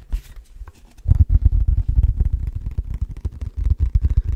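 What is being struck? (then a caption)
Clear plastic food container. An empty, hollow, transparent rectangular plastic food container is tapped and scratched with fingertips and nails. After a quiet second of faint scratching, a rapid, steady run of dull, low, hollow taps follows, each short and dry with almost no ring.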